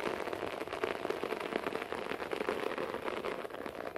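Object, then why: Short-pile carpet. Fingertips and nails quickly scratch and pat a beige short-pile carpet floor, with the hands briefly moving toward the camera. A dense, steady crackle of fast scratches and soft pats blends into a rain-like patter, its energy centered in the mids with little low end.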